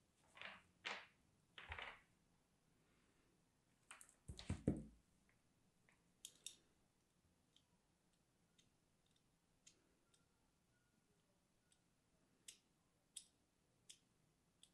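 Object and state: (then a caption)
Hard bar soap being scored. A thin blade scores and scratches lines into the surface of a small, solid, dry purple bar of soap, held close by fingers with long grey-painted nails. Dry, papery scraping strokes come first, then heavier crunchy scrapes with a dull low thud. After that come sparse, short, bright ticks and scratches separated by near silence.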